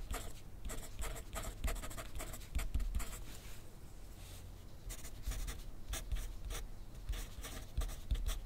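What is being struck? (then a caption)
Paper sheet on a clipboard, wooden pencil. A wooden pencil tip scratches across a thin sheet of grid paper on a clipboard in steady handwriting strokes. Short, bright scratching bursts come one after another with brief pauses, over a low dull rumble.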